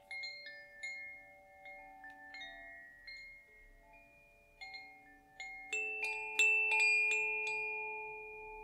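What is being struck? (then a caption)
Bamboo tube chime with metal rods. A small hollow bamboo koshi wind chime with metal rods inside and a hanging wooden clapper is held up by its string in one hand and gently swung and shaken above idle singing bowls. The rods ring inside in soft, scattered, bright tones around 2.7 kHz. The strikes grow denser and louder toward the end, and the overlapping notes shimmer and sustain for well over a second.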